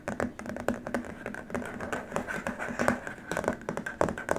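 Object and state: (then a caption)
Plastic keyboard wrist rest. Both hands scratch and tap with short nails across the surface of a long, flat white plastic keyboard wrist rest. Quick, dry clicks and scratchy strokes come in rapid, uneven bursts, each with a faint hollow plastic tone that dies away almost at once.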